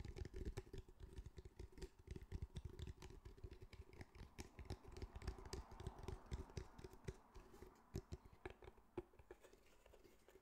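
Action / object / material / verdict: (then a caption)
tap / fabric-covered cylindrical speaker / fabric / none. Fingertips and nails tap and scratch the fabric of a grey, fabric-covered cylindrical speaker held in both hands. The result is a dense, continuous run of quick, soft, muffled thumps mixed with dry scratching, mostly deep and dull with a faint steady tone underneath.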